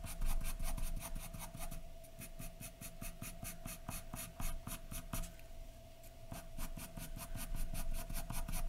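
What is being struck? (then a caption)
Graphite pencil on a sheet of drawing paper. A graphite pencil scratches a large white sheet of drawing paper lying flat, in short, dense strokes. Quick, bright, scratchy strokes come in fast bursts, easing off briefly around two and five seconds before picking up again. A faint steady hum sits underneath.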